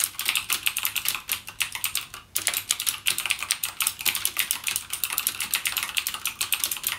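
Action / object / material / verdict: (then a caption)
tap / plastic mechanical keyboard with clicky switches / plastic / none. Fingertips type continuously on a backlit mechanical gaming keyboard with plastic keycaps and clicky Cherry MX Blue switches. A rapid stream of sharp, bright clicks runs throughout, with a brief pause just past two seconds. Each click is short and dry with almost no ring or low end.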